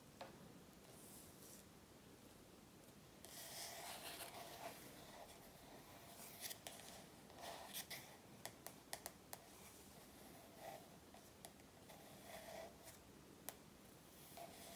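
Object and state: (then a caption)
Paperback workbook. Long natural nails scratch and tap the glossy paper front cover of a large A4 paperback workbook with a solid stack of pages, lying flat on a wooden table. Soft, steady scratching with a hiss-like brightness runs throughout, broken by short, dry, sharp taps that cluster in the middle of the clip and die away instantly.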